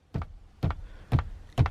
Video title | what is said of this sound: 2019 Ram Rebel After 1 Month Of Ownership | it sounds like there might be something loose inside here